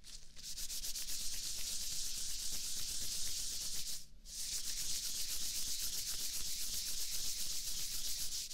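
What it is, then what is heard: Latex gloves being rubbed. Hands in thin white latex gloves rub and wring against each other right beside a binaural microphone. The result is a steady, bright, swishing rub with a fast rhythmic texture, broken by one brief pause about halfway through before it resumes.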